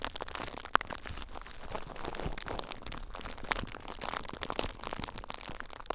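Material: Plastic.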